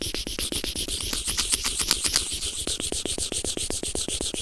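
A white plastic earphone inline remote microphone resting on felt is scratched rapidly with the tip of a white plastic tweezer. Quick, bright scratching strokes repeat at a brisk, slightly uneven pace, with a rougher, busier patch in the middle. Each stroke is crisp and dies away almost at once.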